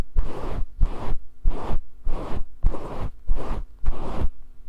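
Fingers stroke and scratch the fibers of a fluffy grey faux fur windscreen over a small microphone, making seven soft, rhythmic rustling swishes. Each pass carries heavy low-end rumble with a fainter brushy hiss, and a faint steady hum sits underneath.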